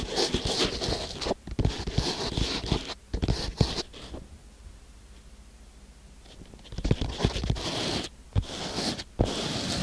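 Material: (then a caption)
Sand. Fingertips of both hands scratch and drum on the surface of flat-packed kinetic sand filling a small wooden box. Dense, gritty scratching and crunchy patters with sharp taps come in bursts, fade to near silence in the middle, then pick up again with bright, irregular scraping.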